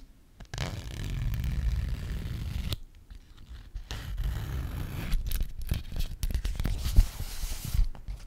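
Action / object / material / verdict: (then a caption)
scrape / frosted plastic zip pouch / plastic / none. A flat, frosted, translucent plastic Sephora zip pouch that appears empty, with a black zipper, is handled by hand as the zipper is pulled open and closed. A steady, low rasping scrape runs for about two seconds and then stops. After a brief quiet gap, choppier crinkling and scraping returns with sharp clicks, the loudest near the end.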